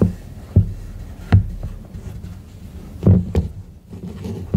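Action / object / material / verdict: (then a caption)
tap / silicone duck-shaped night lamp / silicone / none. Fingertips tap the body of a hollow white silicone duck night lamp resting on a wooden table. Six soft, dull, low thumps land at uneven intervals, each dying away almost at once over a faint low hum.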